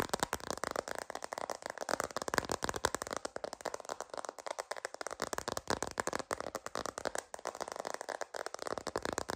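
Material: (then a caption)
Plastic. A sparkly plastic glitter phone case, held horizontally, is tapped and scratched with long green nails. Rapid, dense clicking taps blend with scratchy rattling, centered in the midrange with very little low end. Each tick is dry and stops almost instantly.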